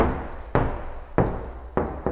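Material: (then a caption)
Polyester. Knocks on the fibre-reinforced polyester rear panel of a motorhome, four dull, low hits that sound hollow and die away quickly. The hollow sound is normal and intended: the decorative panel sits in front of the wall with a 7 cm air gap that serves as insulation.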